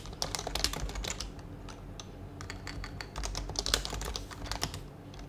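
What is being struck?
Mechanical keyboard with plastic keycaps and case.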